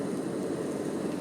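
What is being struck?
Nothing is struck.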